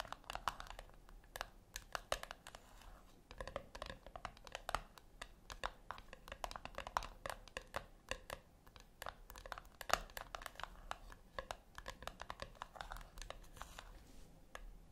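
Long acrylic nails tap and click on the flat top of a small, round, brushed-silver metal tin resting on a white cloth. The result is a quiet, steady stream of dense, quick taps, each a short, dry click with a bright metallic edge and almost no ring.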